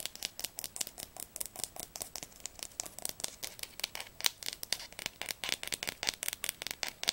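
Long nails tap and scratch rapidly along the glossy spine of a solid blue Diercke Weltatlas hardcover held sideways. The result is dozens of quick, dry, bright clicks and scrapes that stop almost instantly, with very little low end.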